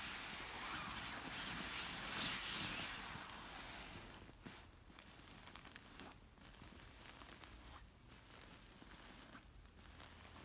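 Long nails scratch and a flat hand rubs a large, soft, stuffed orange silk pillow covered in silky fabric. A loud, steady, bright rubbing hiss fills the first four seconds, then gives way to quieter, rhythmic scratching strokes with occasional sharper accents.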